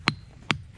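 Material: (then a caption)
Monzonite rock. An igneous monzonite boulder resting in contact with the ground in the Montana ringing rocks field is struck twice with a hammer. Each strike is a sharp, bright click that dies almost at once, with no sustained tone after either hit. The grounded boulder does not really ring.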